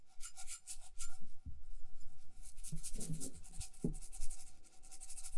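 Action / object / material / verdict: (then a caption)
scrape / small cup covered in beads with a metal bottom / beads, metal / none. Long nails scratch the beaded side and the metal base of a small hollow bead-covered cup as it is turned in one hand. The result is a soft, continuous rasping and rubbing with bright crackly ticks and a few dull low knocks from the base.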